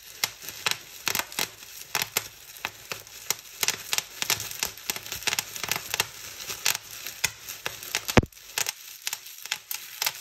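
Fingertips pinch and pop clear plastic bubble wrap resting on a table, crushing and crinkling it. A rapid, irregular series of sharp, bright snaps rises over a steady crackly rustle, with the loudest pop near the 8-second mark before the snapping continues more sparsely.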